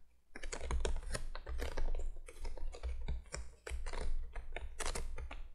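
Long fingernails tap rapidly with both hands on the face of a printed cardboard candolier box lying flat. The result is a fast, dense patter of dry, clicky taps in uneven bursts, over a steady low hum.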